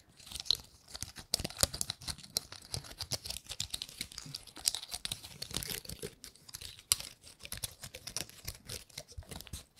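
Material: Pine cone.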